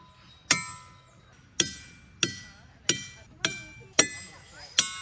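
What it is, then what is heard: Ringing rock struck with a hammer. Boulders at Ringing Rocks County Park, Pennsylvania, are struck with a hammer seven times at irregular intervals. Each strike gives a sharp metallic attack followed by a bright, bell-like ring with high, sustained tones.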